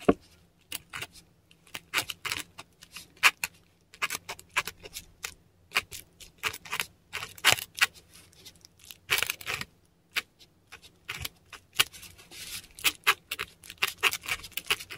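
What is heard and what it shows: A metal dip pen nib scratches across a textured Korean paper sheet while writing Latin letters. Short, bright, dry scratching strokes come in quick irregular bursts separated by brief pauses, over a faint steady low hum.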